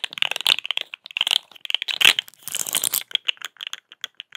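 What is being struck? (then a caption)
Corrugated plastic pop tube. A small, hollow, rainbow-striped corrugated plastic pop tube is stretched, compressed and scratched with long acrylic nails close to the microphone. It makes dense, rapid plastic clicks, pops and crinkling scratches that are bright and dry, with almost no low end. The sharp ticks come in quick uneven bursts and die away almost instantly.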